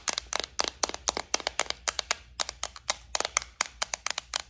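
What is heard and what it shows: Long nails tap and scratch across a clear plastic bead organizer, a compartment case filled with gold studs. About 27 sharp, dry clicks arrive in quick, irregular bursts with almost no ring, bright and crisp with very little low end.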